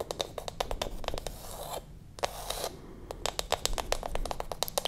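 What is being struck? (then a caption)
Wooden lid of a glass candle jar. Long acrylic nails tap and scratch across the flat bamboo/wooden lid of a small glass candle jar held close to the microphone. Rapid, dry clicking taps with almost no ring are interrupted midway by a softer stretch of scraping, then the quick tapping returns.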